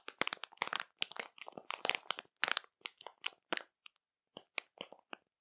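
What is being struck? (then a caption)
Plastic bag of marshmallows. Long matte nails of both hands tap and scratch a printed plastic bag of Zakręcone marshmallows, full and soft. Bright crackling crinkles come in quick clustered bursts of taps and scrapes with gaps between, each sound dry and short with almost no ring.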